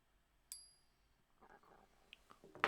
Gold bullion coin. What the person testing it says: this is pure gold thanks to this that we have all frequencies matches